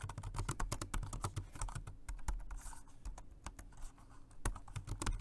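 Fingertips of both hands type steadily on a dark grey plastic Jelly Comb multi-device dual-mode rechargeable 2.4G wireless and Bluetooth keyboard with round keys. The result is a fast, continuous run of short, dull key taps with a low, thuddy body and very little bright click. The typing eases briefly in the middle before picking back up.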